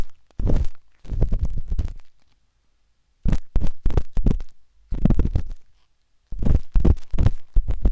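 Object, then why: Silicone ear of a binaural microphone. A pale pink, soft and solid silicone ear of a binaural microphone is scratched inside the ear canal with the metal tip of a wooden-handled dot stick. Four bursts of dense, rapid scratching and tapping are heard, deep and muffled with almost all energy in the low range, separated by short silences.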